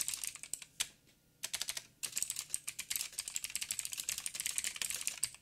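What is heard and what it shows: Fingertips of both hands type continuously on a backlit mechanical keyboard with black plastic keycaps on a silver frame with a hollow housing. Rapid, bright, dry clicks with almost no low end pause briefly near one second and again around two seconds. The typing then resumes in a dense, steady run.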